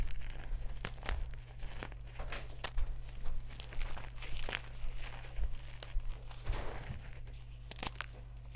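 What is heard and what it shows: Bare hands grab, squeeze and crumble solid chunks of white gym chalk blocks (magnesium carbonate) from a pile of crumbled chalk and powder on a round tray, crushing and rubbing them with the fingertips. Dry, crumbly crunches and soft crackles come in irregular bursts, with brief bright snaps from breaking pieces. A steady low hum runs underneath throughout.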